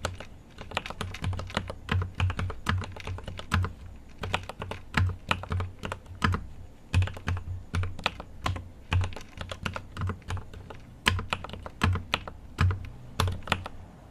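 A GMMK Pro mechanical keyboard with an aluminum case and plastic keycaps is typed on continuously with the fingertips of both hands. Rapid, crisp key taps come in uneven bursts, each with a deep, thocky low body and a short bright click that dies away almost at once.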